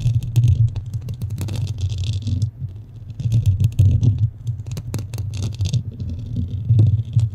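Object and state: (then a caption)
Foam microphone windscreen being scratched. Long nails scratch both sides of a black foam windscreen on a standing microphone. The result is a dense, continuous, uneven rumbling scrape centered low around 100 Hz, with bright crackly bursts flickering above it. The sound swells and dips throughout.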